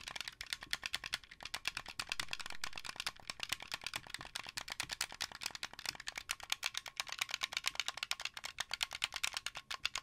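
Fingertips with painted nails tap and click the white buttons and sticks of a hand-sized, blue translucent plastic, wired Xbox 360-style controller with a hollow shell. The result is a fast, steady stream of dry, bright plastic clicks and taps, centred around 2.7 kHz, with almost no low end. Each click stops almost instantly, with a brief softer rustle just after two seconds.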